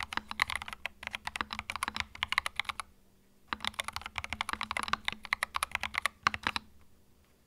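Fingertips type on a small white 65% mechanical keyboard with plastic keycaps and a hollow plastic case, resting on a felt mat. Rapid, bright, clacky keystrokes come in two bursts separated by a short pause, each click short and dry with a hollow tone around 1.1 kHz. A faint low hum sits steadily underneath.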